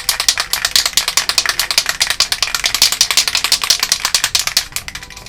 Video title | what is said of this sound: How I Made Cloud Strife's Buster Sword (Final Fantasy VII Remake Cosplay Prop by TMProjection) | you want to take it until you hear the rattling very nicely